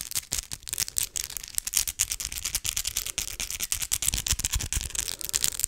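Long acrylic fake Christmas nails are tapped straight against each other, nail on nail, close to the microphone. The result is a rapid, irregular run of sharp, bright clicks with almost no ring and faint low rumble underneath.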